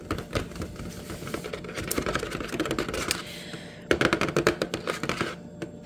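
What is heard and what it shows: Painted fingernails tap rapidly on a Pepsi 12-pack cardboard box full of cans, lying in a shopping bag. The result is a stream of quick, dry, clicky taps with a papery rustle and almost no ring. After a brief lull near the middle, the tapping picks up again, slightly louder.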